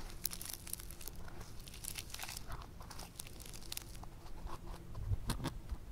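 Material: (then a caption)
Foam clay. A hand-sized, solid lump of pink foam clay is squeezed, pressed and folded back together with fingertips and thumbs. The clay gives off soft, continuous crunching and crinkling, with bright crackling bursts over a low, steady rumble that grows a little louder near the end.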